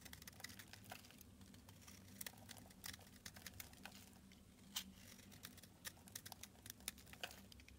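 A solid purple oval bar of soap, held in the hand, is shaved into flakes with a red box cutter blade. Many quick, crisp, bright scraping ticks and crinkles come in an irregular run over a quiet, steady low hum.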